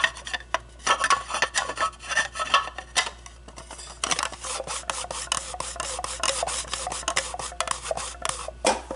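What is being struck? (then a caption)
Acrylic plastic display cube. Long blue-painted nails handle, scratch and tap an empty, hollow, clear acrylic display cube. Rapid, raspy scratching strokes mix with sharp, dry taps that have a bright, hissy top and almost no ring. The sound comes in quick, uneven bursts that grow denser in the second half.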